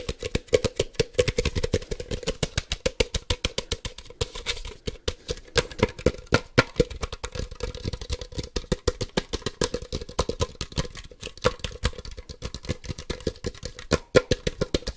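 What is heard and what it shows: Fingertips tap rapidly on a hand-sized hollow plastic Ultra Ball, a Poke Ball toy, held close to the mic. The sharp, dry clicks ring briefly with a hollow tone around 500 Hz, and they come in a fast, uneven, continuous stream with bright edges.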